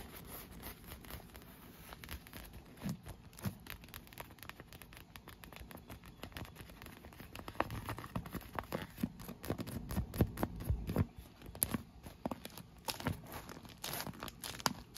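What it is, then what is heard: Inflated vinyl pool lounge. Fingernails scratch and squeeze the clear, air-filled PVC vinyl pillow section of an inflated pool lounge. The result is a continuous patter of quick, dry crinkling and scratching ticks, quiet at first and growing denser and louder in the second half.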